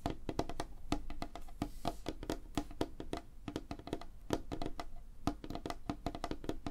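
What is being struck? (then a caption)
Wooden tabletop. Fingertips and short nails tap quickly across a flat, solid, light wooden tabletop, the hands moving over the surface. Rapid, dry, clicky taps with a woody knock near 316 Hz and bright nail ticks die away almost instantly, forming a dense, uneven patter.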